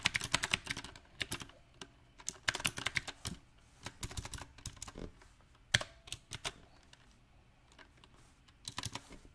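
Fingertips tap the round plastic typewriter-style keycaps of a mechanical keyboard on a silver metal frame, typing in uneven bursts with pauses between them. Each keystroke is a short, dry, bright click with a little low thump underneath, and the clicks die away almost instantly. Some taps land hard and sharp while others are soft.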